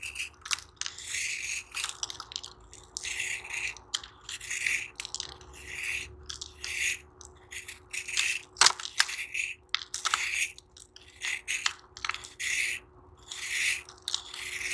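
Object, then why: Sand-cement block scraped with a metal blade. A hand-held chunk of soft, crumbly, solid dry sand-cement block is shaved and scraped with a metal knife blade over a blue tub, and sand crumbs fall onto the sand pile below. The sound is a series of bright, gritty scraping and crunching strokes in short bursts with quiet gaps between them, plus a faint steady low hum underneath.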